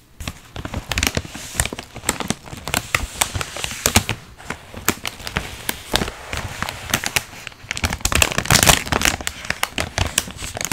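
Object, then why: Foil-lined plastic chip bag with chips inside. Both hands press, squeeze and rub a large sealed Miss Vickie's chip bag of crinkly foil-lined plastic, puffed with air and full of chips, on a felt mat. Dense, bright crinkles and sharp crackles of the chips come in quick irregular bursts that die away almost at once, over a soft rustling bed.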